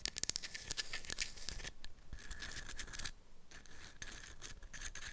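Long acrylic nails tap and scratch a light, solid, palm-sized wooden block with a scalloped edge and round dimpled holes, held in both hands. Quick, sharp clicky taps come first, then turn into bright, hissy scratching across the wood. The sound dips briefly near the three-second mark, then the scratching picks up again.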